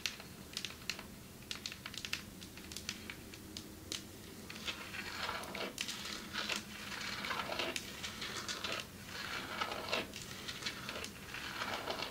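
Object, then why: Marble table top tapped with long nails. Long metallic nails tap on a marble table top, producing sharp, crisp, bright clicks. Scattered taps come first, then denser, scratchier tapping builds up with a faint low hum underneath.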